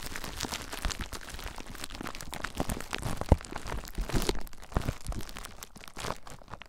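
Fingers squeeze clear plastic bubble wrap wrapped around a recorder, then fingertips scratch across the wrap. The result is a steady stream of close, soft crinkling and crackling with one sharper crack partway through, then lighter, sparser scratching toward the end.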